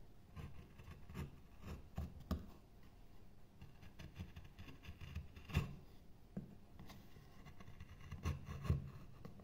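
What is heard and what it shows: A metal gouge repeatedly scoops and scrapes a light wooden carving blank, a pale solid wood board covered in shavings. Quiet, low-heavy rubbing and scraping runs throughout, broken by short, sharper cuts with brief bright edges at irregular intervals.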